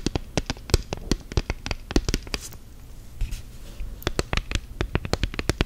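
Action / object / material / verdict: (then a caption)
tap / silicone phone case on a smartphone / silicone / none. Long gel nails tap quickly on the back and sides of an orange silicone phone case on a smartphone lying flat. The result is a rapid run of short, dry clicks with a soft low thud and a bright tick. The tapping eases into a brief quieter stretch near the middle before picking up again.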